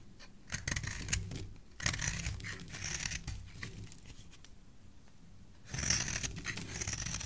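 A thin metal blade scrapes and carves a solid rectangular bar of red soap held in one hand, and the shavings fall onto a pile below. Bursts of crisp, dry scraping carry a bright hiss over soft low thumps, with quieter stretches between the strokes.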